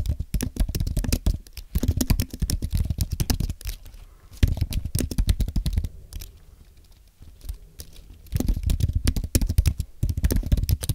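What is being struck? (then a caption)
Low-profile keyboard with aluminum base and plastic keys. Both hands type with their fingertips on a thin, solid white Apple Magic Keyboard with an aluminum base and plastic keys. The result is rapid, dry, low key taps with very short decay, coming in dense bursts with quieter pauses near the middle of the clip.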